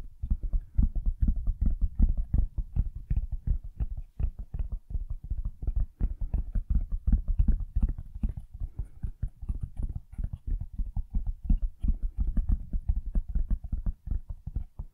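A medium, rigid black cardboard packaging box, hollow and apparently empty, is held up and rapidly tapped on its flat side with the fingertips. The result is a steady stream of quick, dull, low thuds in an uneven, drumming rhythm, each tap dying away almost at once with a boomy, hollow body and almost no bright edge.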